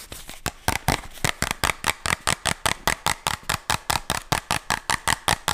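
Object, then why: Small plastic pill bottle. Fingernails tap and scratch the body and label of a small, hollow white plastic medicine bottle with a red band and a white cap. It starts as a soft, continuous scratching and settles into a quick, fairly steady run of short, crisp, bright clicks, about two and a half per second. Each click dies away almost at once.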